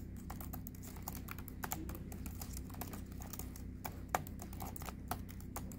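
A hand with long red nails types quickly on the plastic keys of a silver HP Envy laptop. Rapid, short, dry clicks run continuously over a steady low hum, with a few sharper, louder taps standing out.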